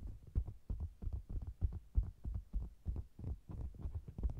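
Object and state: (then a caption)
Faux leather cosmetics bag. Long green nails tap along the lower edge of the red front of a round, hollow faux-leather cosmetics bag, held with a microphone inside it. About eighteen quick, irregular taps land as deep, muffled thumps, almost all below 200 Hz. Each dies away almost at once, giving a soft, heartbeat-like throb.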